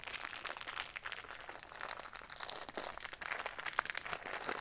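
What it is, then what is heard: Cardboard and plastic blister craft package. A small, hollow craft kit package with a cardboard backing and a clear plastic blister is held in the hands and turned over while fingertips and nails press, rub and crinkle the plastic blister. The result is a continuous stream of quiet, bright crinkles and sharp little crackles with almost no low end, each snap dying away almost instantly.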